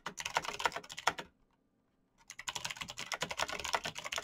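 Bare fingertips type very fast on a black plastic mechanical keyboard with clicky switches, giving dense, bright, sharp clicks. The typing stops for about a second of near silence and then resumes in an equally rapid burst.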